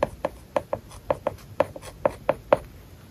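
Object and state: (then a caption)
Stylus writing on a tablet with matte paper-like film. A plastic stylus writes words on an iPad lying flat, its glass screen covered with a matte plastic paper-like film. Eleven short, dry taps and scratches land on the surface in an uneven writing rhythm, each with a crisp mid-pitched click and almost no ring.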